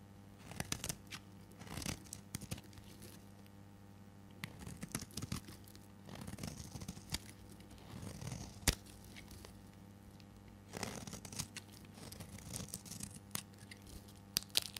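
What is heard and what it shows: A hand-held, solid oval purple bar of dry soap is shaved with a metal blade into thin curls. Quiet, dry scraping and crisp crackling strokes with bright, papery tearing textures come in clusters over a steady low hum.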